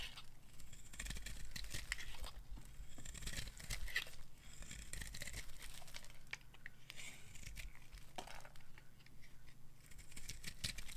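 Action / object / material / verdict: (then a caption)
scrape / bar soap carved with a knife / soap / none. A hand-sized, dry, solid white bar of soap with a black coating is held in the hand and carved with a metal knife, shaving off crumbly white flakes. Quick, dry scraping and crunching strokes run almost continuously over a steady low hum, with bright crackly detail on each cut.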